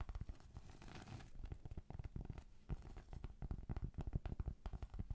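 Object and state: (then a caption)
Round cork trivet. Long pointed acrylic nails scratch the grainy surface of a thin, solid round cork trivet. The result is a quiet, dense run of rapid, dry scratches and soft taps, mostly low and muffled, with brief gritty rasps in between.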